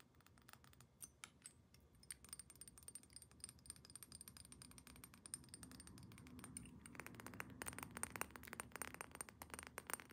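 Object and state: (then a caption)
Glass perfume bottle. Long nails tap quickly on a rectangular clear glass perfume bottle, partly full of amber liquid, and on its metal cap. The result is a fast, irregular run of short, bright clicks with a faint high ring, growing busier and louder after about seven seconds.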